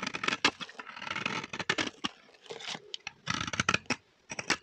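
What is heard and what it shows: A metal blade scrapes shavings off the surface of a solid, dry green bar of vintage soap held in the hand. The result is a series of crisp, dry scraping and crackling bursts with short pauses between them, bright and papery with little low end.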